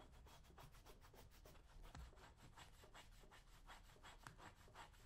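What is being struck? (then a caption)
Leather work boot scraped with a metal blade. A metal blade scraper is drawn across the leather upper and toe of a brown leather lace-up work boot worn on a foot, while the other hand steadies the boot. A quiet, steady run of quick scraping strokes follows one after another, each a dry, rasping hiss reaching into the high range over a low rumble.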